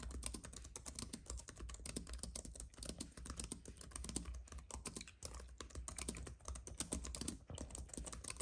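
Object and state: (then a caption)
Plastic and aluminum computer keyboard. Both hands type steadily with the fingertips on a slim white wireless keyboard with plastic keys on a silver aluminum base, lying on a dark fabric mat. A rapid, continuous stream of short, dry plastic key clicks and taps with bright edges sits over a steady low hum.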